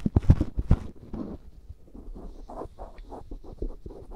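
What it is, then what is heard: Silicone ear microphone being scratched. A black cotton swab rubs and scratches inside the ear canal of a life-size white silicone ear microphone, which is solid and soft. Dense, low, muffled rustling and scraping dominate, with louder crackly scrapes in the first second, then quieter, steady scratching.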